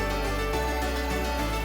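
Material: Nothing is struck.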